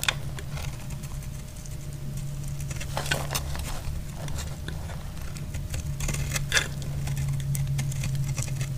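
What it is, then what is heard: Dry bar soap being scraped. A solid green bar of soap is scraped with a utility blade into shavings, producing irregular dry, bright scratching and crackling strokes. A steady low hum and a faint mid tone run underneath throughout.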